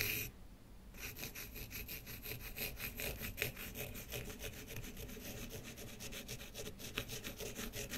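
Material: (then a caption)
Wood. A pen tip scratches and rubs back and forth across the surface of a small, flat, rectangular, light-colored solid wooden block, held by one hand on a wooden table, leaving dark streaks. After a brief quiet pause, a steady run of rhythmic, dry scratching strokes begins, with a bright, hissy grain over a soft low rumble. A couple of sharper ticks stand out along the way.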